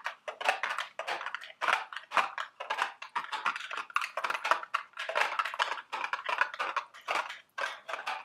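A small, hollow, printed cardboard candy box shaped like a milk carton is held in the hands while long, sharp acrylic nails tap and scratch at it. The result is a dense run of quick, dry clicks and scrapes in the mid and high range, with almost no low end. Each sound dies away almost instantly.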